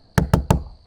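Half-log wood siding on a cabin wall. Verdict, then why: Veneer. Three knocks on half-log wood siding above a cabin gable, a log cut in half and fixed as a veneer over sheathing rather than a solid log. Each knock is a short, low, hollow thunk with little high-frequency content. It sounds different from the solid log below.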